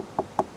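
Two short, dry knocks on the gloss black plastic interior trim of a ZEEKR 7X, each a quick mid-pitched tap that dies away almost instantly. The trim is plastic made to look like piano black, not the wood used for real piano black.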